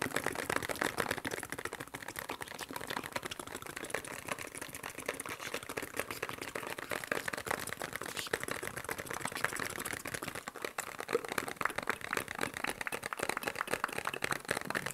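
A small, hollow printed cardboard medicine box with a shield-and-cross logo is held in both hands and tapped quickly with fingertips and nails. The result is a steady stream of dry, crisp clicks with a papery mid-to-bright tone and almost no low end. Each tap dies away instantly and runs unbroken through the whole clip.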